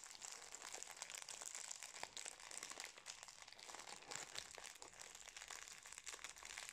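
A small, full, individually wrapped Napolitain cake in a metallised plastic wrapper is held in both hands and crinkled and squeezed with fingertips. A steady, quiet stream of dense, crackly crinkling fills the clip, bright and high with almost no low end. The short, sharp crackles run into one another without a pause.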